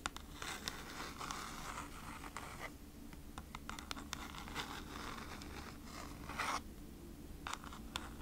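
Long nails scratch across the front of a kraft cardboard food-wrap package held upright, making repeated dry, papery scrapes with bright, short bursts. A steady low hum runs underneath throughout.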